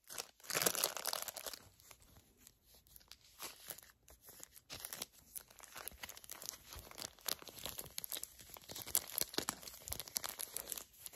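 A small, flat Garnier Fructis hair mask sachet made of crinkly foil/plastic laminate, filled and soft, is held in both hands and crinkled and squeezed with long acrylic nails and fingertips. The result is dense, bright crinkling and tearing-like rustles with sharp crackles throughout. It opens with a louder burst, then continues as a steady stream of crisp crackling.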